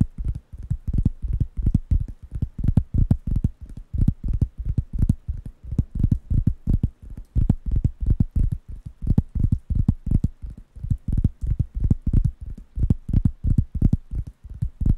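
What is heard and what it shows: Fingertips rapidly tap and scratch the surface of a large, thin, round, light-brown wooden coaster pad held in one hand near the microphones; the pad is solid and flat. The result is a fast, somewhat uneven stream of short, dull, low thuds that stop dead with no ring, mixed with faint scratchy texture.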